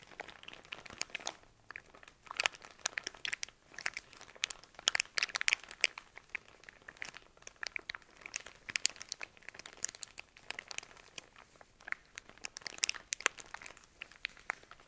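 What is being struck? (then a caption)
Cotton pads in thin plastic wrap. A hand-sized soft pack of cotton pads in thin clear plastic wrap is held in both hands, squeezed and scratched with fingernails. It gives dense, bright crinkling and crackling with rapid, sharp dry snaps and almost no low end, continuing in irregular bursts throughout.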